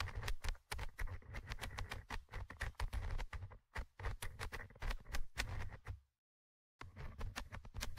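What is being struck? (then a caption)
Metal mesh microphone grille of a handheld recorder. A thin orange stick scratches and taps the small metal mesh microphone grille of a Tascam handheld recorder, producing a rapid, dense run of dry clicks and scratchy strokes. The contact picks up as a heavy, boomy low thump with bright ticks on top. The sound drops out to silence for about half a second before the tapping resumes.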